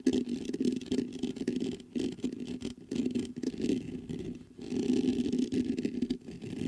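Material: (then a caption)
Metal mesh. Fingertips rapidly scratch the hollow mesh grille of a black metal USB condenser microphone. The result is a dense, close rasping with a low-mid hum centered around 260 Hz, coming in bursts with brief pauses and faint bright hiss above.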